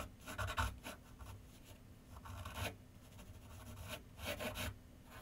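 A graphite pencil scratches and shades across a large white sheet of paper mounted on a board on a wooden easel with solid backing. Quiet, dry rasping strokes come in uneven bursts with a bright, scratchy texture and a faint low rumble underneath.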